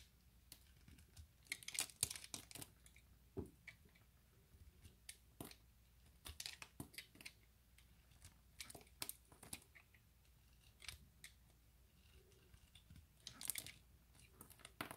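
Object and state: Bar of soap being carved.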